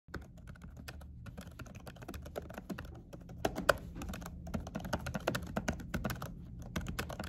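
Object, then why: Laptop keyboard under a silicone cover. Fingertips of both hands with short natural nails type quick tapping key presses on a laptop keyboard under a dark silicone cover with white key letters. The rapid, steady stream of soft, muffled taps sounds dull and low-heavy, with each tap dying away almost instantly and only a few sharper clicks standing out.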